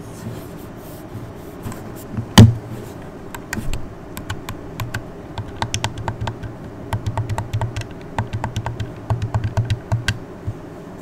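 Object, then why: Plastic game controller. Fingers with long red nails tap and press the buttons and D-pad of a hand-sized, hollow red plastic Xbox controller, making a run of quick, light, bright clicks over a steady low hum. One louder thump lands early on, and the taps then come in quicker clusters toward the end.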